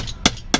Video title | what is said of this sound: 4-15-16 A new chapter | You hear that little vibration and feel it. That means the powder's still nice and fluffy